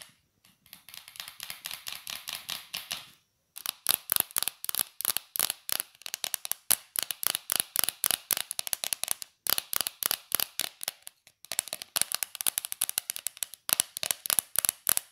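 A small, hollow Corn Flakes cardboard box is held upright in both hands and tapped and scratched with long dark polished nails. Softer, quick tapping and scratching for the first three seconds gives way, after a brief pause, to louder, rapid bursts of dry, bright clicks in short runs with small gaps. Each tap is sharp and dies away at once with no ring.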